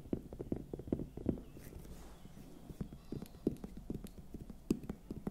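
Long nails tap rhythmically on a large, hollow, raw red bell pepper held close to the microphone, making about twenty short, dull, hollow knocks with a low-mid pitch and almost no ring. The taps are quiet and drop to softer ones midway before picking up again. Faint mouth sounds may be present, since the lips are pursed at times.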